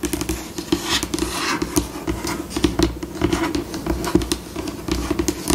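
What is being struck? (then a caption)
Laminate tabletop. Long acrylic nails scratch, tap and patter across a flat, solid, white glossy laminate tabletop, recorded close up. Dense, rapid clicks and scrapes shift between slower and faster runs, with a steady mid-low resonance beneath the bright scratching.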